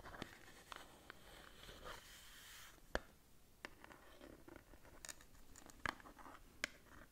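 A small blue-white cardboard skincare box, held upright, is scratched and tapped with long nails. Soft, dry scratching and rustling runs throughout, broken by sharp, bright taps that ring very briefly. The overall level stays quiet.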